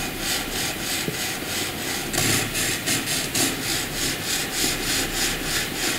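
A wooden graphite pencil does dense hatching on white paper, making repeated scratching and rubbing strokes. The sound is a steady, bright, airy hiss that swells in quick, loosely uneven pulses, roughly three per second, with little low end.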